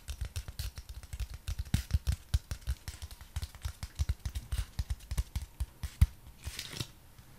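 A long, flat strip of brown cardboard with a printed diamond pattern is held horizontally and tapped with the fingertips and nails of the other hand. The result is a rapid, uneven series of soft, dull taps, each dying away almost instantly. Near the end comes a brief scratchy brushing sound.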